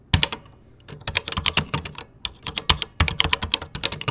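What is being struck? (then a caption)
Plastic computer keyboard keys. Fingertips type rapidly across the beige plastic keys of a 1986 Tandy Color Computer 2 keyboard, with a microphone in the background left untouched. Bursts of sharp, bright plastic clicks with dull low thumps come in quick runs, broken by a short pause near the start. Each keystroke dies away almost at once.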